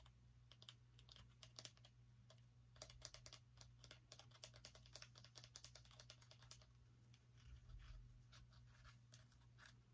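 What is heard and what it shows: A small orange pumpkin is held in one hand and tapped with the long nails of the other hand. Quick, sharp, bright clicking taps patter irregularly for the whole clip, each dying away almost at once over a steady low hum.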